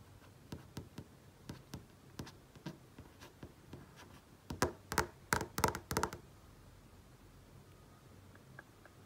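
Painted nail tips tap and trace on a large flat-panel TV screen, with about 17 short, dry clicks. The taps are light and unevenly spaced for the first four seconds, then a louder, brighter cluster follows. They fade to a few faint ticks over a quiet background.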